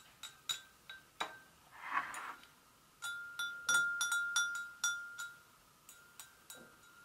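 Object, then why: Porcelain gravy boat. Long acrylic nails tap the rim and sides of an empty, hollow, medium-sized white porcelain gravy boat resting on a stone counter. Sixteen irregularly spaced, bright clinking taps each ring out briefly, with a clear tone near 1.4 kHz that fades within about a second, plus a softer brushing sound partway through.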